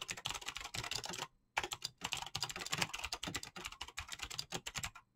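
Fingertips with short painted nails type fast on a full-size Razer mechanical keyboard with green clicky switches and pink-blue PBT plastic keycaps. A continuous stream of bright, sharp clicks with short pauses, one near 1.3 seconds and another just before the end.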